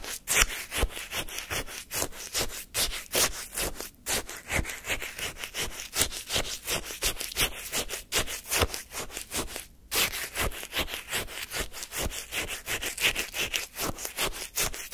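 A wooden spoon scrapes and digs into granular lemon shaved-ice sorbet in a paper cup. Repeated short, crunchy, gritty strokes with a bright icy rasp come in a loose rhythm of about two or three per second throughout.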